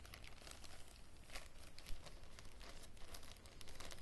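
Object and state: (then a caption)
Plastic zip-lock bag being crinkled. Fingers pinch and crinkle a small clear plastic zip-lock bag with a red seal strip and green contents, and nails scratch its surface. The result is a quiet, continuous, irregular crackle of bright crinkling bursts over a low rumble, with a slightly louder crunch near the middle.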